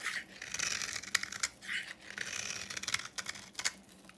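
A solid yellow bar of dry soap painted copper is held in the hand and shaved with a utility knife into dry, crumbly flakes. Bright, crisp scraping and crumbling strokes come in bursts, broken by sharp little clicks and snaps as flakes break away.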